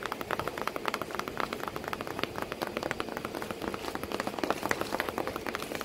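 Continuous tapping on a cardboard box that holds a sitting cat, heard as a rapid, steady stream of short, dry, hollow taps with a papery midrange thud. The taps stay quiet and even and die away almost instantly, with no low rumble.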